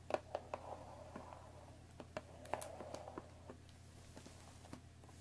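Long painted nails tap and scratch along the top edge of a rectangular, hollow cardboard Earl Grey tea bag box that still holds its tea bags. The result is a quiet, irregular series of short, dry, hollow taps mixed with soft scratching, each tap dying away almost instantly. A steady low hum runs underneath throughout.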